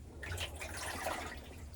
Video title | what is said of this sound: Samsung Washer Leaks Water in Tub | if you turn your basin, you can hear the water sloshing around